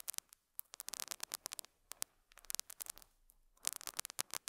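A metal dental scaler hook scratches and picks at a small square beige felt pad resting on a lapel microphone. The result is quiet, dry, crackly scratching and quick ticks in uneven bursts, bright and hissy with no low end, separated by brief near-silent gaps.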